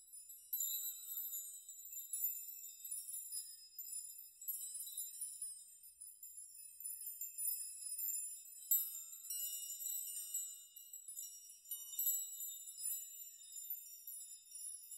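A chime of many long hanging steel nails is grasped and swayed by hand, rocking and shaking the nails so they clink against one another. The result is a continuous, quiet shimmer of bright, high-pitched metallic tinkles with short rings and no low end, swelling and easing as the nails are moved.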